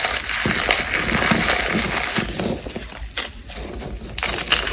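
Fingertips with long blue-painted nails squeeze and crush chunks of large, solid, brittle, cracked white blocks of dried cornstarch paste inside a black bag. A dense, bright crunching and crackling runs almost continuously, with a few sharper cracks standing out. The chunks break down into powdery crumbles.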